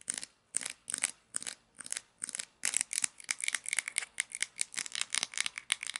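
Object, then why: Small plastic toy pizza cutter. Long nails tap and scratch the grey wheel of a small plastic toy pizza cutter with a red handle while the wheel is turned. Short, bright, crackly bursts of scratching come in a steady rhythm with clear gaps at first, then crowd into a quicker, nearly continuous run. The sound is thin and high with no low end.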